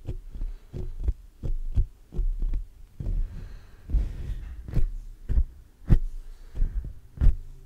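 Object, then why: Metal mesh microphone grille. Fingertips of both hands scratch and tap the black metal mesh grille of a large hollow condenser microphone. The result is a steady run of deep, boomy thumps, almost all low bass, broken by brief rustling scratch noise between the taps.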